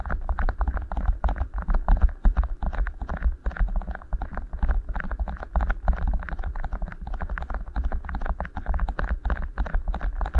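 Two matching beeswax-coated cotton food wraps, each rolled into a hollow tube around one capsule of a Tascam recorder's microphones, are rubbed and squeezed by fingertips. The result is a steady stream of dense, rapid crinkling and rubbing bursts over a heavy, boomy low rumble, with almost no bright top end.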